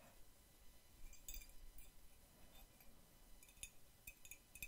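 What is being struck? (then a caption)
Ceramic mug tapped with nails and metal paperclips. Long nails holding metal paperclips tap and clink against the side of a hollow white ceramic mug with a red cartoon print. About seven quick, bright clinks ring around 2.5 kHz and die away almost at once, irregularly spaced over a low, steady rumble.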